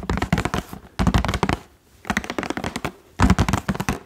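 Fingertips tap the hollow clear plastic bubbles of a Bref toilet rim block blister pack, with blue balls inside on a cardboard card, held close to the microphone. The taps come in four quick bursts separated by short pauses. Each tap is short and dry, with a low, hollow thump around 195 Hz.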